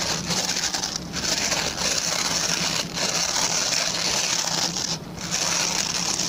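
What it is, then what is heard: Plastic bristle brush being scratched. Fingertips and short nails scratch along the plastic pin bristles of a hand-sized, oval, white plastic brush. The result is a steady, bright, crackly hiss, with brief pauses in the scratching around 1, 2.9 and 5 seconds before it resumes.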